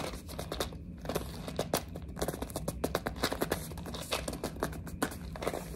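Long nails grip, tap and scratch the sides of a small printed cardboard box of mini building blocks held in the hand. A dense run of short, dry crinkling taps and scraping strokes sounds over a low, steady hum, with bright clicks that die away almost instantly.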